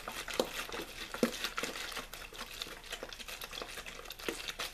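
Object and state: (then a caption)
Mostly empty plastic water bottle. A hollow, mostly empty clear plastic water bottle with a blue label is crinkled and squeezed with fingertips. The result is a steady, bright crackling and rustling, broken by a few sharper, louder snaps as the thin plastic flexes.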